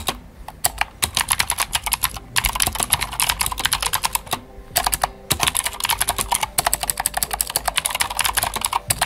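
Fingertips of both hands type fast on a full-size white Glorious GMMK White Ice mechanical keyboard with plastic keycaps and clicky Gateron Blue switches. Rapid, bright, sharp clicks pour out in dense bursts, with brief pauses near the two-second mark and just before the five-second mark. Each click is crisp and dry, with little low end.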